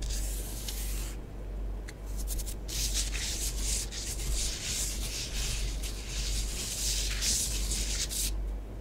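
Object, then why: Bath bomb powder on a tabletop. Long nails write and rub through orange bath bomb powder spread on a tabletop. Bright, gritty scratching comes in bursts over a steady low rumble, with brief quieter gaps between strokes.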